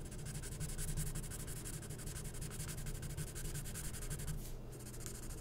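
A felt-tip marker scribbles fast back and forth on a glossy printed magazine page of thin coated paper, filling in letters. The result is dense, scratchy strokes: a steady rapid rasp with bright, hissy edges over a low, rumbling hum that holds an even level throughout.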